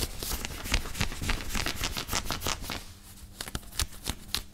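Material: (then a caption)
Cotton. Fingertips and nails quickly scratch and rub a grey knit cotton t-shirt worn on the body, across the chest and shoulders. Dense, rapid scratchy rustling fills the first half with bright, crisp fabric texture, then thins to sparser, sharper scratches after about three seconds.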